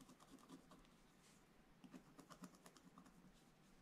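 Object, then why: Coated scratch-art paper page scraped with a wooden stylus. A wooden stylus scratches lines into a black-coated scratch-art paper page lying in an open book. The result is a quiet run of short, dry scraping strokes with soft low-mid taps and bright, hissy streaks.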